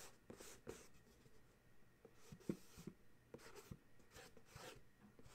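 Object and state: Cardboard box scratched.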